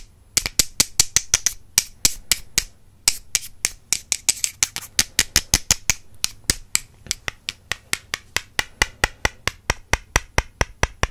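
The wooden handles of two makeup brushes are tapped together in a steady run of about 49 sharp, dry clicks, with brief pauses near the start. Each tap is bright and high-pitched with almost no ring, and the tapping keeps an even rhythm through the clip.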